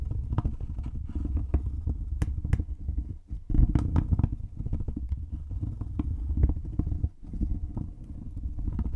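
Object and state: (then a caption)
Cardboard toy packaging box. A small, hollow, green printed cardboard "Pop Wars" toy packaging box is held above a microphone and tapped and scratched with long painted nails. The result is a dense run of deep, muffled thumps around a low hum, with occasional sharper clicks. The sound pauses briefly around 3 and 7 seconds.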